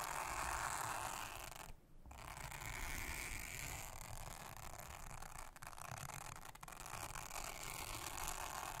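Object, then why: Silicone honeycomb trivet mat. A soft toothbrush brushes across a thin, solid, round blue silicone honeycomb trivet mat. It makes a steady, scratchy, bristly rasp with bright hiss and a low rumble, broken by a short pause near two seconds. Then it keeps going at an even, quiet level.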